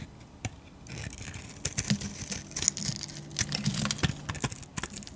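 A metal blade scrapes and slices flakes off a solid pink painted soap bar held in the palm. Quick, crisp scraping and crackling strokes repeat throughout, bright and papery, over a faint low hum.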